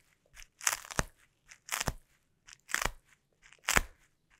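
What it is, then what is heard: Plastic bubble wrap pressed and peeled. Sticky taped fingertips press and peel on a clear plastic bubble wrap sheet, producing crunchy, crackling pops. Four loud, bright bursts, each led by a fainter touch, are separated by short silences, with a soft tap at the end.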